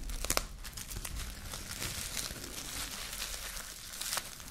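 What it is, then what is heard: Plastic cling film being crumpled. A clear sheet of plastic cling film is held in both hands and crumpled by the fingers into a small wad. Dense, bright crinkling and crackling runs for about four and a half seconds, with sharper snaps near the start and end over a low, rough rustle.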